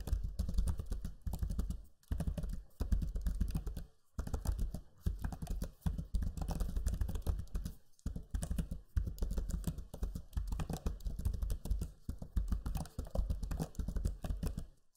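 Fingertips type steadily on the low-profile plastic keys of a backlit black Lenovo Legion 5 laptop keyboard. The result is a dense run of short, soft clicks and muted thuds, weighted toward the low end with a deep, cushioned tone. Brief pauses break the typing now and then.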